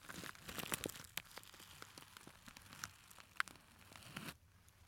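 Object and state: Glitter fabric clutch purse being scratched.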